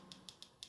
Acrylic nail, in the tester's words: we tap this now you've got that high pitched sound so your ready to file